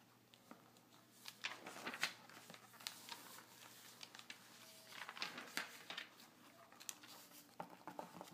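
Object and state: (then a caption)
Glossy paper magazine. Fingertips and nails tap and scratch the glossy printed pages of an open magazine, and the pages are turned partway through. The result is quiet, bright, crinkly paper scratching punctuated by many short, crisp taps and a few louder rustling page turns.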